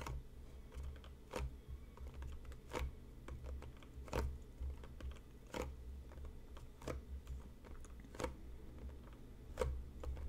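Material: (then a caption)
Cardboard. Fingertips and short nails tap along the sides of a closed, hollow, medium-size printed cardboard tea box resting on a cutting mat. The taps are quick, dry and hollow, with a soft low thump and crisp bright clicks that die away almost instantly. They come at an uneven, unhurried pace with a few louder strikes among lighter ones.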